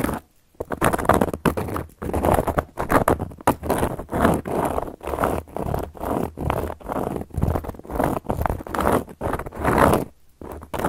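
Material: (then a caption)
Cork. Long gold metal claw nail caps scratch and tap across a solid, round, flat cork board. Dull, muffled scratching comes in a steady run of short rasping bursts separated by brief pauses, with a soft low-mid tone and almost no bright edge.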